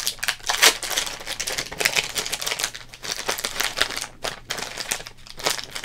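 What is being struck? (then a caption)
Thin plastic trading card pack wrapper. A thin, printed plastic wrapper from an opened Topps Big Baseball Cards trading card pack is crumpled and crinkled with both hands. Dense, bright crackling comes in quick, irregular bursts with short pauses, sharpest near the start and again toward the end.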